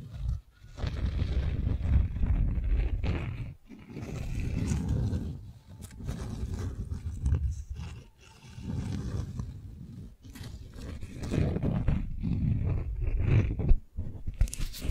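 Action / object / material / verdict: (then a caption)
scrape / beeswax-coated cotton wrap sheet / waxed cotton / none. Long nails tap and scratch the waxy surface of a folded beeswax-coated cotton sheet held in the hand. Bursts of dull, low scraping and rustling rise and fade across the clip, separated by brief quiet gaps, with a few sharper taps toward the end.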